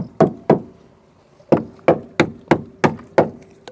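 A tapping stick knocks nine times along the steel sill of a barn-find Proton Saga Iswara, giving short, dry knocks with a brief low ring and a pause after the first two. The sill sounds solid and is judged to be in good condition.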